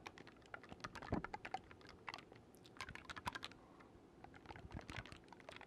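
Fingertips rapidly click the silver metal keys of a black wooden oboe held upright beside the mic. The result is a quick, irregular run of short, dry clicks and taps with bright edges and almost no ring, some landing harder than others.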